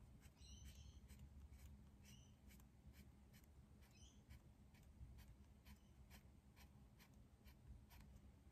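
A dark green pencil scratches short, repeated strokes across a large white paper drawing pad lying flat on a desk while shading leaves. The quiet, brief scratches sit over a steady low hum throughout.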